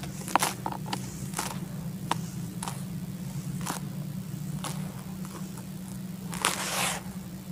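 Fingers and hands dig, rub and scoop through a bucket full of dry, fine red soil powder. Soft, crunchy, grainy bursts crackle brightly over a steady low hum, with a longer rustling scrape near the end.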